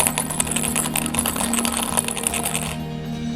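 A plastic bottle filled with several coins is shaken, producing a rapid, continuous metallic rattle of coins clinking inside it, with a steady low hum underneath. The rattling stops shortly before the end, leaving only the hum. The coins vibrate to make the sound, and stronger shaking makes it louder.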